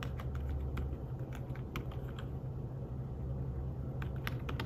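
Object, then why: Fabric-covered tablet keyboard. Fingertips with short nails tap quickly and unevenly on an iPad Smart Keyboard-style folio keyboard, thin and flat with dark woven fabric-covered keys. Each soft tap gives a brief, bright click. The taps sit over a steady low hum that dominates the sound.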